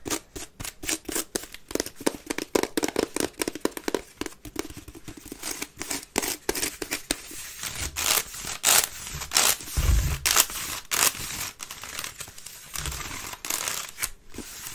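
Long red nails scratch fast across the woven circular base of a hollow, empty grey wicker waste bin, making dense, bright, crackling scratches in quick bursts. Occasional low, hollow thumps come through the bin partway through.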